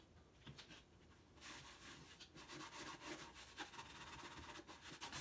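A hand wipes and rubs a cloth across the grey-painted side slats of a large, hollow, empty painted wooden crate with an X-brace side panel. After a faint first second, a steady, bright, airy rubbing swish sets in and continues with small surges as the cloth drags back and forth over the slats.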